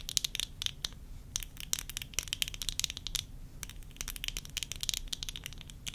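Long nails scratch and tap the rims and temple arms of worn tortoiseshell plastic eyeglasses. The result is a quiet, steady run of sharp, bright clicks and scrapes centered high, with each tap dying away instantly over a faint low rumble.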